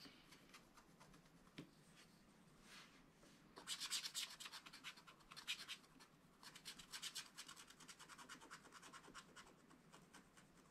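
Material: Wax-coated paper.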